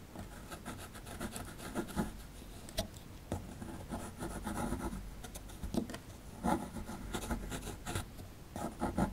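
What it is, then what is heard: Plaster dig block being scraped. A rectangular solid plaster fossil dig block, held in hand, has its right edge scraped and chipped with a metal pick as crumbs pile up. Steady dry scratching and rasping run through the clip, broken by short sharp chips with a bright crumbly texture.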